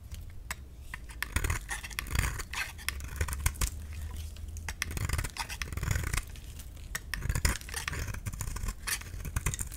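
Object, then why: Bar of soap scraped with a metal blade. A metal utility-knife blade scrapes and shaves thin curls off a solid, palm-sized orange bar of dry soap held in one hand. Many short, dry scratching clicks with bright crackle repeat steadily over a low rumble.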